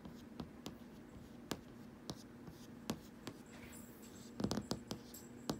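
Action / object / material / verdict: tap / glass TV screen / glass / none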